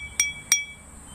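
A glass of water is tapped twice with a metal spoon, giving two ear-piercing, high-pitched clinks with bright ringing overtones. Each tap rings briefly before fading, in contrast to the softer sound of a wooden spoon.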